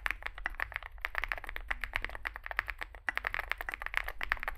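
Both hands type continuously with their fingertips on a compact 65% Zoom65 mechanical keyboard, which has an aluminium case, foam filling, lubed switches and SA plastic keycaps, resting on a desk mat. About 34 short, dry keystrokes come in quick succession, each a bright clack centered near 1.8 kHz that dies away almost instantly, over a faint low hum.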